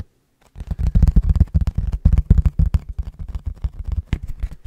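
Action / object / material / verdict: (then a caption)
tap / plastic food container with lid / plastic / none. An empty, hollow, clear plastic food container with its lid on is held in both hands and tapped with fingertips and nails. After a brief silence, a rapid, uneven run of soft, dull taps follows, deep and muffled with almost no ring. An occasional click has a slightly brighter edge.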